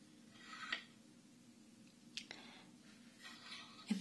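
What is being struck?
Wooden abacus with wooden beads.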